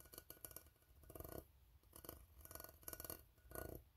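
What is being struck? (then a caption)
Ribbed steel tin can. A fingertip taps and scratches the ribbed side of an empty, hollow steel tin can. Quiet clusters of dull, hollow taps with a low body are mixed with bright, raspy scraping bursts across the ribs. Each sound dies away quickly, with little ring.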